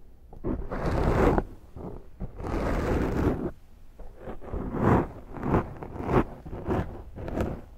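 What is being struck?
Foam microphone windscreen.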